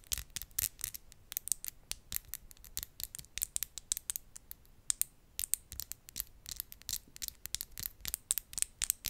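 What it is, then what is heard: Acrylic nails tapped together. Long glitter acrylic press-on nails are tapped and scratched against each other, nail on nail, just above the microphone. The result is a rapid, irregular series of dry, bright clicks and scratchy rasps with almost no ring and little low end.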